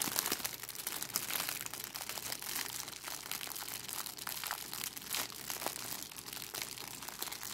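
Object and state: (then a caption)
Crinkly plastic cellophane bag. A thin, clear, crinkly plastic cellophane bag with a red price sticker is held in both hands and crumpled and scrunched by long decorated acrylic nails and fingertips. The result is a steady, dense stream of bright, sharp crinkling and crackling with almost no low end, punctuated by slightly louder crunches.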